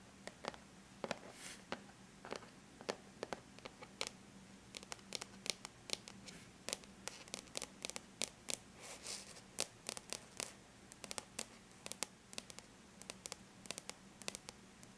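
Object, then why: Aluminum laptop lid. Long bare natural nails lightly tap on a flat silver-gray aluminum laptop lid. Dozens of quick, bright clicks come in an uneven rhythm, each dying out instantly with no ring. Faint soft scratching sounds fall between the taps, over a quiet, steady low hum.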